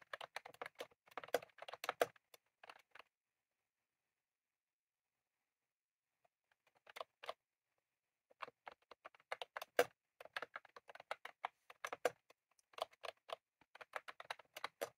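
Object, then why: Plastic mechanical keyboard with round keycaps. Both hands type rapidly with their fingertips on a full-size, retro-style plastic mechanical keyboard with round cream plastic keycaps and a plastic case, resting on a desk. Quick, dry, bright clicks and taps come in dense bursts, with a quiet pause of a few seconds before the typing resumes and continues to the end.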